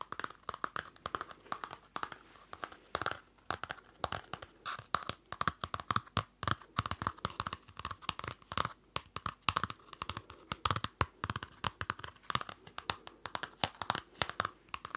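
Fingertips and nails tap and scratch the dark card cover of a small Field Notes pocket notebook, a solid stack of paper held near the mic. Rapid, dry taps and scratchy crinkles come in quick, irregular bursts for the whole clip, each dying almost instantly, with a papery midrange and a little bright hiss.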